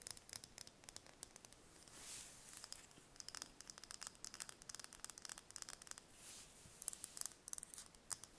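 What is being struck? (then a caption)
Raw chicken egg in its shell. A small brown raw chicken egg in its shell, hollow shell around a full interior, is held in the hands and tapped and scratched with long painted nails. Quiet, bright, dry clicks come in quick irregular runs, with no ring after each tap. Two softer scratching swishes rise around the second and sixth seconds.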